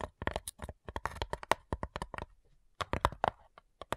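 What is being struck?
Wooden cigar box.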